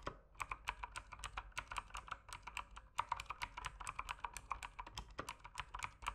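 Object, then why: Mechanical keyboard with plastic keycaps. Fingertips type continuously on an RGB-backlit mechanical keyboard with plastic keycaps. The result is a fast, steady stream of short, sharp clacks with a clicky tone near 960 Hz and bright upper edges, each keystroke dying away almost instantly.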